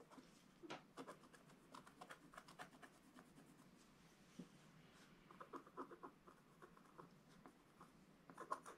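A wooden stylus scratches details of a dog figure into a flat, black, wax-coated scratch-art paper page. Quiet, dry scratching comes in quick, short strokes, with a soft papery rasp around 1 kHz and faint bright edges. It swells into a few louder scrapes near the end.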